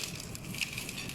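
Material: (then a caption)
Fried pastry. A freshly fried vegetable spring roll with a pastry wrapper is broken open, giving a dense, bright crackling crunch across the whole clip. The crunch is steady with small peaks, and its crispness shows the roll is well fried.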